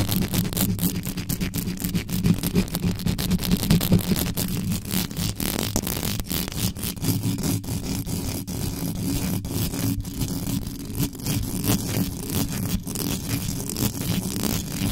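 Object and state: Metal mesh microphone grille, scratched.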